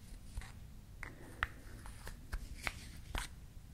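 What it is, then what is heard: Wooden toy lip balm, clicked and tapped. A small, solid, painted wooden toy lip balm with a pink cap, red stick and natural wood base is held in both hands while its cap is opened and closed and the wood is clicked and tapped with long nails. About seven quiet, dry, sharp clicks and taps stand out, each dying away almost instantly with a brief bright edge, over a faint low rumble.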